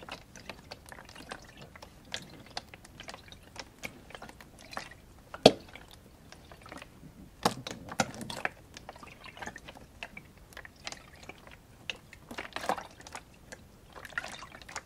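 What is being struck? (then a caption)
Plastic water jug with water inside. A large clear plastic spring-water jug with a red label, partly filled with water, is held on its side in both hands and tilted or shaken so the water sloshes inside the hollow container. Quiet, irregular liquid clicks and drips with bright edges run throughout, with one sharp, louder slosh near the middle and a busier cluster of splashes shortly after.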